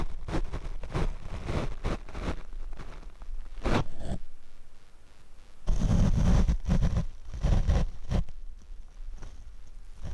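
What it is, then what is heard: Foam microphone windscreen being brushed. A paint brush is swept over the black foam windscreen of a Rode microphone, producing close, muffled brushing and scratching strokes at an irregular, fairly quick pace. The sound is dominated by deep low rumble with occasional airy swishes, and the strokes turn louder and denser toward the middle of the clip.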